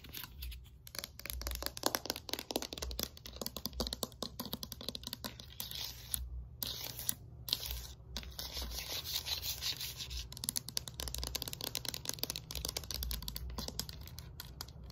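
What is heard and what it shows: Long nails rapidly tap and scratch the smooth surface of a thin, flat yellow hard-plastic hexagonal exercise slider disc with a black rubber edge. The result is a dense stream of dry, bright clicks and scritchy scrapes that stop almost instantly, over a faint steady low hum.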